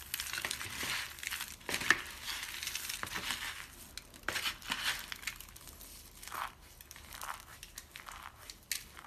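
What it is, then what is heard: Dry soap flakes. Cupped hands with pink nails scoop and crush handfuls of brittle, solid white dry soap shavings in a cardboard box. The result is dense, bright, crackly crunching in irregular bursts with brief dry clicks and almost no low end.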